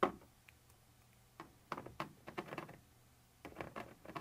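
A thin metal pointer tip scratches across a white translucent textured plastic surface in a series of short, dry, raspy strokes separated by quiet pauses. The scraping is soft and mid-toned with brief bright edges, each stroke stopping almost instantly, over a faint low hum.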